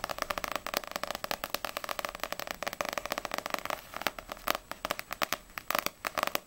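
Long nails tap fast on the glossy paper front cover of Ousama Game volume 1, a small solid paperback manga book, then the book is turned and its spine is tapped. The taps are a rapid string of short, dry clicks with a mid-range body around 600 Hz and a bright top, with almost no low end. After a brief lull near the middle, the taps come sparser and a little louder.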